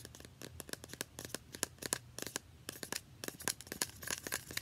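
Long nails tap and scratch fast on a small, partly filled, translucent plastic facial spray bottle with a paper label. The result is a quiet, close run of rapid, crisp clicks and scrapes that are mostly bright and high, with little low end and almost no ring after each hit.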